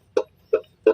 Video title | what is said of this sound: memahami cara kerja kopling mobil manual dan gejala kerusakannya. | kalau udah kreng kreng kreng ada bunyi kayak kendor nah ini sudah fix ada kerusakan pada bagian mataharinya